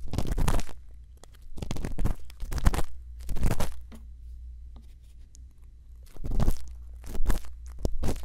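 A thin bamboo earpick scratches inside the ear canal of a white silicone ear microphone. Bursts of close, crunchy scraping and crackling rise and fall over a steady low hum, with quieter pauses between them.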